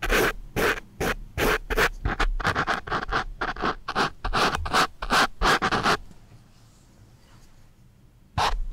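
The graphite tip of a wooden pencil scratches a black foam microphone windscreen up close, making quick, uneven bursts of dry, bright rasping for about six seconds. A short near-silent pause follows before one last scratch at the end.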